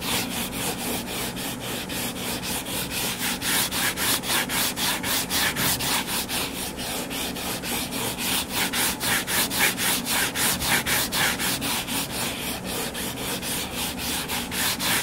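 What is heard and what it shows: A closed hardcover book lies flat and solid on a table while fingertips and nails scratch its cover. The result is a steady, rhythmic series of bright, raspy strokes, about four per second, with the scratching hiss concentrated in the high frequencies.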